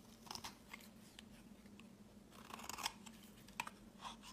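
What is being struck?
Bar of soap.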